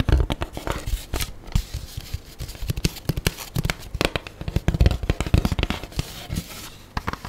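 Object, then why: Styrofoam food tray. An empty black styrofoam food tray, hollow and lightweight, is held and then laid on its edge on a table while long nails scratch and squeak along its foam surface and rim. The result is a dense, irregular stream of short, dry crackling scrapes and squeaks with a low, hollow body and almost no ring.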